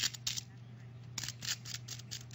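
A knife cuts through the skin of a whole chicken roasted in a 12-quart, 1200-watt halogen tabletop oven, producing a quick run of bright, dry crackles and crunches over a steady low hum. The crackling shows the skin is crispy, and the meat underneath is juicy and cooked through.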